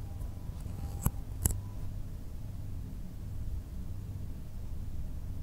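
Fingertips tap and scratch the top surface of a long, solid blue polystyrene foam block resting on a table. Two short, sharp taps with a bright click stand out at about 1.1 and 1.5 seconds over a steady low rumble. Quieter scratching follows, and the sounds die away almost at once.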